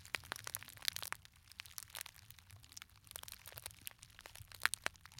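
A small, hollow gold glitter fabric clutch purse with a metal frame clasp is squeezed, crumpled and scratched with fingertips close to the microphones. The result is a quiet, steady stream of dry, bright crackles and crinkles, with a few sharper snaps standing out near the start and end.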